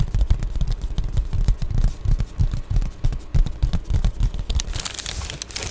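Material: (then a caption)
Plastic. Long glittery nails tap and scratch an Amazon Prime padded poly bubble mailer up close. The result is a quick, irregular run of dull, low thumps with soft crinkly scratching. It ends in a brighter, hissy scrape.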